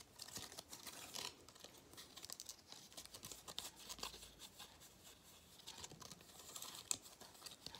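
A gold foil-faced thin cardboard galette crown strip with cut-out holes is held in both hands while fingertips tap, scratch and crinkle the foil surface. Dense, bright crackling and crinkling fills the clip with quick, dry taps and no low rumble. The rustle rises and falls in bursts, with a sharper snap near the end.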